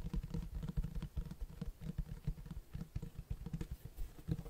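Fingertips tap and scratch the front of a large black Berserk hardcover book with a cloth-textured cover. A quick, irregular patter of soft, dull thumps with faint scratchy rustling between them, almost entirely low in tone. Each tap dies away almost instantly.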